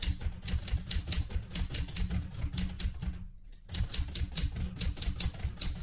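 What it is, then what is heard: Manual typewriter being typed on. Fingertips with red-painted nails type continuously on a vintage light blue portable manual typewriter with a metal body. The keys strike in a quick, uneven run of sharp, bright clacks over a low mechanical thump, with a brief pause a little past the midpoint before the typing resumes.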